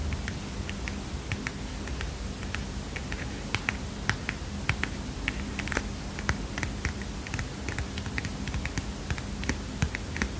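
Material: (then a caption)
Paper. Long fingernails tap rapidly and irregularly on the front of a small heart-shaped paper mini notepad with a kitten print. Each tap is a short, dry, bright click with almost no ring, over a steady low hum throughout.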